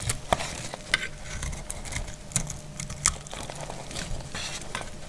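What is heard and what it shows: A palm-sized, solid, dried yellow household soap bar is held in the hand and shaved and cut with a utility knife blade, and crumbly chunks fall away. A steady, rough scraping hiss carries a low rumble underneath, broken by sharp, bright cracks and clicks as the blade bites and pieces snap off.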